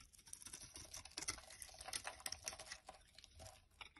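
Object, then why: Bar of soap shaved with a knife blade. A utility knife blade shaves flakes and curls off one end of a solid yellow bar of soap held in the hand. The result is a quiet, steady run of crisp, bright scraping and crackling ticks, mostly high in pitch with very little low end.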